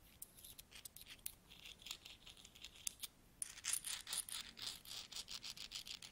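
Fingertips with nails rummage through a large pile of solid metal coins, picking them up and rubbing them together. Quiet, bright clinks and scrapes come in an irregular stream of short, dry contacts, growing busier and louder after about three and a half seconds.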